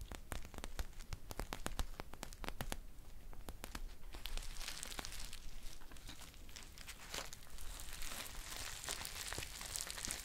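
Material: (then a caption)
Foil. A green foil tea pouch with a paper label is handled, crinkled and scratched with long nails. Sharp, dense crackles and crinkles fill the first few seconds, then give way to a steadier, bright scratching rustle with a deep low rumble underneath throughout.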